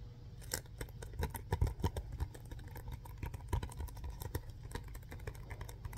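A yellow SpongeBob DVD case, a hollow hard plastic case inside a printed paper sleeve, is held in the hands and gripped and scratched by the fingertips and nails. Quiet, irregular clicks, taps and scratchy rustles come in a steady stream, with a soft low-weighted thump under each and a very short decay. Brief louder taps stand out between the fainter scratching throughout.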